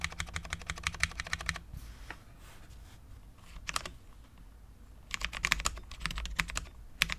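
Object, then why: Low-profile mechanical keyboard, ABS keycaps on steel plate. A full-size, low-profile Cherry MX10.0 mechanical keyboard with Cherry LP switches, dark ABS keycaps, a steel plate and no foam is typed on with the fingertips of both hands. A rapid burst of short, bright, clacky keystrokes gives way to a quiet stretch with only a few scattered presses. Then the fast typing resumes, each tap dying out almost instantly.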